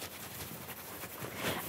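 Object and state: Nothing is struck.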